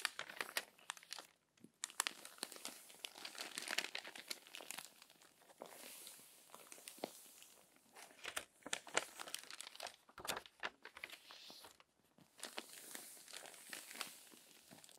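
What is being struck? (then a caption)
Glossy paper magazine. Hands with long nails rub and smooth the pages of a crumpled glossy paper magazine lying flat, then turn a page. Soft, bright crinkling and crackling comes in dense bursts with brief pauses, with almost no low end and no ringing after each rustle.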